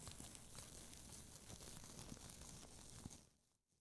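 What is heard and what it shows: A thin, light sheet of red tissue paper, loosely bunched and held in both hands, is crumpled and crinkled by fingertips with long nails. It makes a dense, steady crackle with soft rustling and bright, papery hiss for about three seconds. The sound then fades quickly to near silence.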